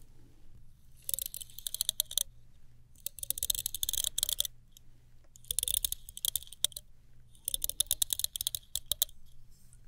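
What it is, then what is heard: Plastic hairbrush. Long nails tap the handle of a small chrome-finish plastic hairbrush and flick across its black plastic bristles. The sound comes in four bursts of rapid, dry, bright clicks and rattles, separated by short quiet pauses over a faint low hum.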